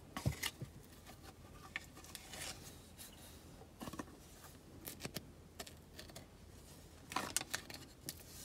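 Long acrylic nails scratch across the ridged surface of a large, solid, rectangular green olive Marseille soap bar with stamped logos and a rope loop, held unwrapped in the hands. Quiet, crisp scratching bursts with a bright, hissy edge come in scattered clusters near the start, around the middle and toward the end, each dying away almost instantly.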